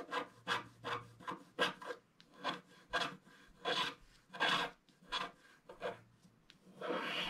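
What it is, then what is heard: Scratch-art paper being scratched. A wooden stylus scratches across a flat black-coated scratch-art card in a run of short, separate strokes. Each stroke is a dry, raspy rub with a bright edge, ending in a longer continuous scratch.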